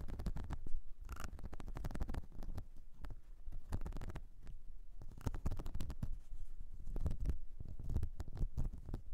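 Long nails scratch across the ridges and nubs of a flat, light blue, whale-shaped silicone cleansing mat. The result is a steady, dense, muffled rubbing and scraping, dominated by low, rumbly tones and broken up by many brief sharp ticks.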